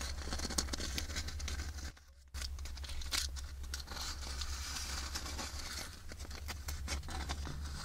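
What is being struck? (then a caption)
Wafer ice cream cone. Long nails scratch and tap the grid-patterned surface of an empty, hollow wafer ice cream cone held close. Dry, crinkly scraping and quick light taps crackle bright over a steady low hum, with a brief near-silent pause around the two-second mark before the scratching resumes.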